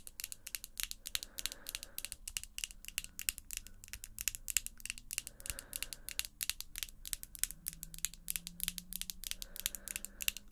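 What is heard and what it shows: Long square pink acrylic false nails tap and click against each other as the fingertips meet. A rapid, steady run of sharp, bright clicks goes on throughout, each dying away instantly. A faint low hum sits underneath.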